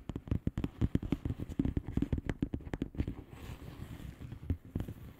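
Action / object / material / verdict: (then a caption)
tap / plastic bubble-wrap envelope / plastic / none. Long polished nails on both hands tap rapidly across a flat, hollow plastic bubble-wrap mailer lying on a surface. The taps are short, dull and low, with crisp clicking edges. After about three seconds they become softer and lighter, and a few sharper taps return near the end.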